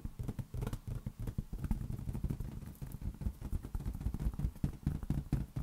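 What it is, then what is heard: Inflated rubber balloon. A large, hollow, inflated green latex balloon resting on an open palm is tapped rapidly and continuously with the fingertips of the other hand. It produces a steady stream of soft, dull, low thumps around 145 Hz that die away almost instantly, with almost nothing in the upper range.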